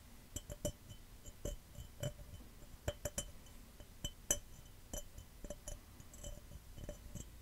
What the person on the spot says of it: Fast, Aggressive Glass Cup Tapping & Scratching